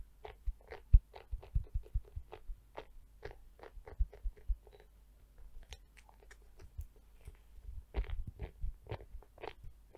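A pink plastic scalp massager brush is held close up while long nails tap and scratch its hollow domed back. The result is a steady run of quick, dry clicks and crunchy scratches with a soft low thump beneath them.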